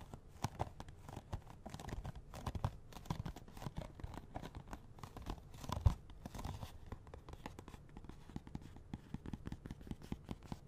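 Fingernails tap and scratch on a small, hollow cardboard box of latex gloves with the gloves still inside. The result is a dense run of quick, dull, low thuds and dry scratchy clicks with almost no ring, and one sharper tap stands out about two-thirds of the way through.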